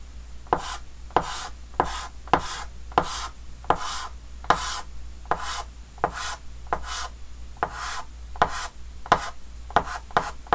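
A red chalk stick taps and scratches short strokes across a large, flat, dark chalkboard with a green wooden frame. About 16 sharp taps come at an uneven pace, and each one runs into a brief, bright scraping rasp. A steady low hum sits underneath.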